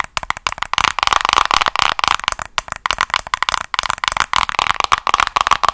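Long acrylic nails rapidly tap and scratch the colourful printed hard plastic back of a hollow-looking handheld paddle hairbrush held up in front of the face, with rings on the fingers possibly adding faint clinks. The result is a fast, steady stream of short, dry, clicky taps and scrapes with a bright plastic tone centred in the midrange and almost no low end.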